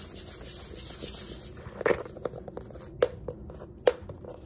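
Fingers rub and scratch the cover and page edges of a small yellow hardcover paper sketchbook with a pink page block and an elastic band. A steady, bright papery rubbing hiss gives way to quieter scraping, punctuated by a few sharp, dry taps with a low-mid knock and almost no ring.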